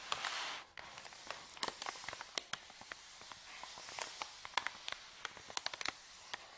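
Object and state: Paper bag crinkling.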